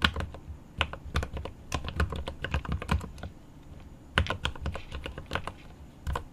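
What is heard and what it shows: Both hands type rapidly with their fingertips on a 75% mechanical keyboard with plastic keycaps on an aluminum case. Quick, sharp key taps with a deep, low thock come in uneven bursts, pause briefly, then resume. Each tap dies away almost at once.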